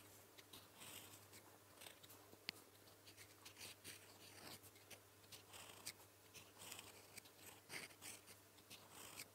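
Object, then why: Metal fountain pen nib on paper sheet. A gold metal fountain pen nib held in the fingertips writes blue-ink strokes on a flat sheet of lined paper. A quiet, steady run of bright, dry scratching strokes follows, with brief high scrapes and short pauses between them, over a faint low hum.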